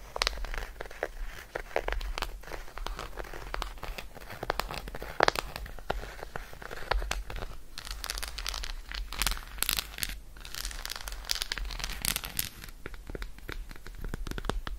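Long nails tap quickly on the embossed face of an unwrapped solid milk chocolate bar held in one hand. The result is a dense, continuous stream of short, dry, crisp clicks with a crinkly texture and no ring, over a steady low hum.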